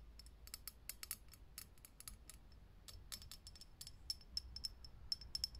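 A fingernail taps fast on a lit, hollow, clear glass vintage filament light bulb while the hand cups the glass. The taps are quick, dry, high clicks with almost no ring, scattered irregularly over a quiet low rumble.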